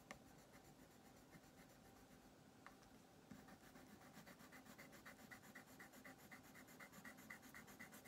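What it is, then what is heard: Colored pencil on paper coloring sheet. A colored pencil rubs and scratches back and forth across a thin printed paper coloring page lying flat on a wooden table, shading an armchair green while the other hand holds the sheet still. The soft, papery scratching settles into a steady rhythm of about four strokes per second, with a bright edge on each stroke.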